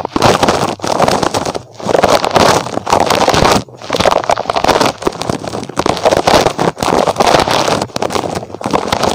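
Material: Rubber.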